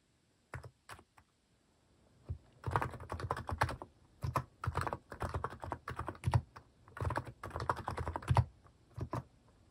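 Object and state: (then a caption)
Plastic mechanical keyboard being typed on. A cream plastic mechanical keyboard with plastic cat and paw keycaps is typed on with fingertips. A few isolated keystrokes open the clip, followed by dense bursts of rapid typing. The clacks are soft and low-weighted, and each one dies away almost instantly.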